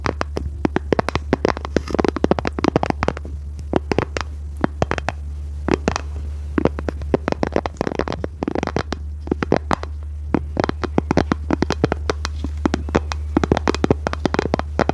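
Long red nails scratch and tap rapidly on a small, hollow, rectangular pink plastic case. Many short, dry clicks and scrapes sound over a steady low hum.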